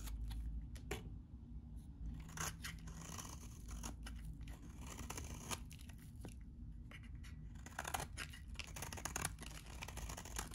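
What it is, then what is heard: Dry bar soap scraped with a blade. A metal utility blade scrapes the edges of a very dry, solid white vintage bar soap held in the hand, shaving it into flakes. Quiet, rapid dry scratching and crisp crunching strokes come in dense bursts, with bright papery rasps over a steady low rumble.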